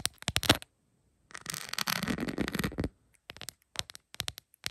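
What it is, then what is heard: Rhinestone plastic phone case. Long pointed acrylic nails tap on a rhinestone-covered plastic phone case lying flat, giving quick bright clicks in uneven bursts. In the middle, a continuous dense stretch of scratchy clattering runs for about one and a half seconds. It then returns to sparse, sharp taps with almost no ring.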